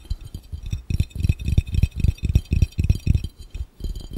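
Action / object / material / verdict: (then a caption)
tap / glass fishbowl / glass / none. Fingertips of both hands tap quickly on an empty, hollow, clear round glass fishbowl. The sound is a fast, uneven patter of short, dull, low, hollow knocks with almost no ring after each tap.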